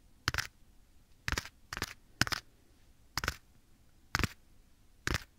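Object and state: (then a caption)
Leather glove. Bare fingertips tap and scratch a black leather glove worn on a hand held at the right microphone ear. Short, dry, brushing bursts come in irregular succession, spread broadly from low to bright high tones, with quiet pauses between them.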